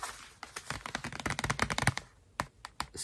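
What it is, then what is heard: Cardboard box tapped and scratched. Fingertips and nails tap and scratch the front face of a flat, printed, medium-size hollow cardboard Scratch Painting kit box held up in the air. A dense run of quick, dry clicks and scrapes with bright, papery edges and a light hollow thump fills the first two seconds, then a few sparser taps follow. Each tap dies away almost instantly.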